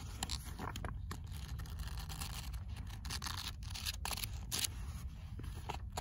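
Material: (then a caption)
Paper. Fingernails tap the cover of a paperback copy of "Critique de la raison dialectique", then the pages are opened and scratched, with a bead bracelet on the wrist. Quick, sharp, bright clicks and dry scratching sit over a steady low rumble throughout.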